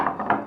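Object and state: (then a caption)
Hollow-sounding baked bread loaf (done). A baked rustic cob loaf, just out of the oven and flipped upside down, is tapped on its base three times, giving short, hollow knocks. The hollow sound shows the bread is baked through.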